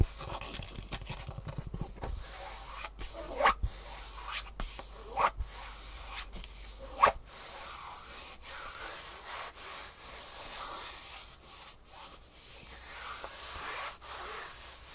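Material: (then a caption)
Foam. Fingertips and nails rub and scratch the textured top of a green, ribbed-fabric Superfeet foam shoe insole held in the hands. The result is a steady, soft, bright scratchy hiss broken by quick sharper taps and louder scrapes.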